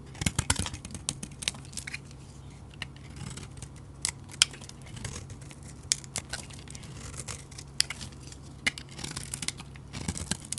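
A utility knife blade shaves curls off a solid cream-colored soap bar with an orange edge, held in the hand. Crisp, bright scraping and sharp little cracks come in quick, uneven bursts over a faint steady low hum.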